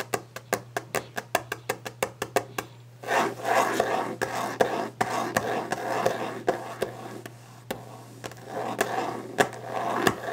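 Fingers tap a wooden desk fast and aggressively for ASMR, giving a quick run of sharp, dry knocks that stop short. After about three seconds, a rough, rasping scratch on the wood takes over, broken by more taps. A steady low hum runs underneath throughout.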